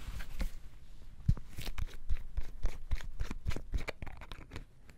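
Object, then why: Plastic-capped sauce bottle. A full sauce bottle of dark liquid with a red plastic lid is held in one hand while the fingers of the other hand tap on the lid. The result is a quick, uneven series of short, dull, low-pitched taps with no ring, plus faint rustling between them.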